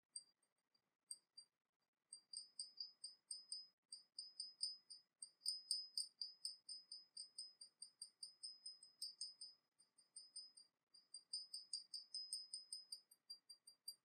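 A small, hollow, painted porcelain teapot with a dragon motif is held in the hands and tapped rapidly with long nails on its underside and body. Roughly fifty quiet, bright, clicking taps come in quick bursts with short pauses. Each tap has a thin high ring that dies away almost at once.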